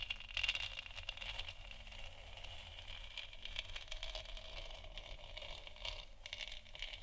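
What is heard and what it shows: Long nails scratch across the textured surface of a large hollow plastic moon lamp sphere. The result is a quiet, continuous, bright rasping scrape that swells and fades, with a faint steady low hum underneath.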